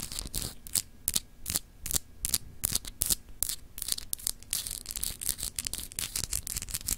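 A palm-sized solid clear glass globe paperweight with etched continents, held in one hand, is rapidly scratched by long acrylic nails. Quick, bright scratchy bursts come in an uneven rhythm, growing denser toward the end over a faint low hum.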